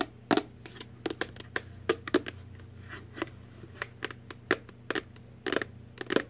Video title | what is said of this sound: ASMR ~ Tapping, Tapping, Tapping | it's just an empty little box